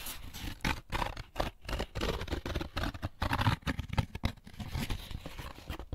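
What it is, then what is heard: Paper pulp egg carton. Fingertips tap and scratch the flat inside of the lid of an opened, empty molded paper-pulp egg carton. The result is a close, irregular run of soft, dull taps mixed with dry, rough scratching. Each touch dies away almost at once, and the sound is weighted toward low thuds with a faint papery hiss above.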